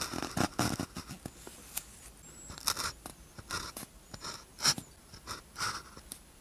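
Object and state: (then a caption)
Paper practice sheet written on with a ballpoint pen. A blue ballpoint pen tip scratches across a thin white paper practice sheet with a red grid lying flat, writing characters. Short, dry, bright scratching strokes come in irregular bursts with brief pauses between them.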